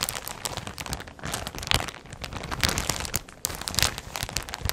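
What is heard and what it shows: Fingers with long red nails hold and crinkle a full, clear plastic polybag holding brown clothing with labels, close in front of the microphone. Dense, bright crinkling and crackling runs throughout, rising into sharper crunchy bursts as the plastic is squeezed.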